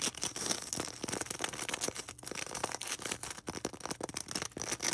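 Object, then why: Polystyrene foam ball. Long red acrylic nails scratch and tap fast on a small solid white polystyrene foam ball held close. A steady run of dry, bright squeaks and crackling scrapes comes in quick bursts with almost no low end, each stroke cutting off sharply with no ring.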